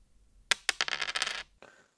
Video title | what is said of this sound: The Science - Drop Test 2 #plectroverse #guitarpicks #heavyrepping #boutiquepicks | sounds like wood that's a great sound hard rather than big in this instance